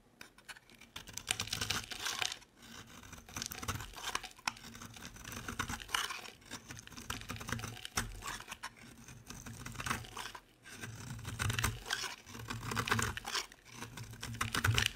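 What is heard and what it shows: A utility knife blade rapidly shaves fine dry crumbs from the edge of a solid, egg-shaped yellow soap bar covered in small holes. The result is a dense, continuous stream of crisp, bright scraping and crackling ticks that rises and falls in bursts over a faint low hum.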